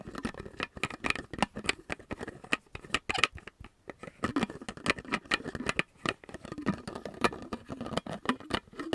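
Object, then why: Plastic bottle with metal screw cap. A medium, hollow, empty clear plastic water bottle with a silver metal screw cap is tapped quickly by fingertips and nails while the cap is repeatedly twisted open and shut. The result is a dense run of short, dry clicks and taps with bright metallic ticks and the scraping rattle of the threads. There are brief pauses between the bursts.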